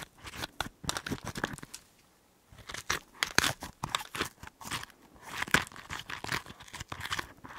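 A small, hollow green chili pepper half, cut open and held in one hand next to the microphone, has its inside flesh scraped with a cotton swab on a stick. This gives dense, crisp, crinkly scratching bursts, bright and close with little low end, broken by a brief quiet pause near the two-second mark before the scraping resumes.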